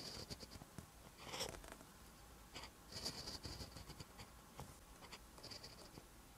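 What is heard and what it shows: A pen held in the fingers writes green text on a lined paper notebook page, its tip scratching across the paper. Quiet, bright scratching strokes come in short irregular bursts with soft pauses between them.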